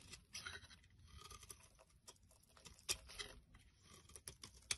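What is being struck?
Bar of soap scraped by a knife blade.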